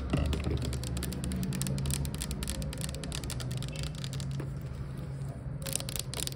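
Long white acrylic nails rapidly tap and scratch a clear plastic Glade rose air freshener bottle with a spray cap, about 460 ml, hollow and partly filled with liquid, lying on its side. Fast, irregular, crisp clicks and bright scratchy bursts run continuously over a steady low hum.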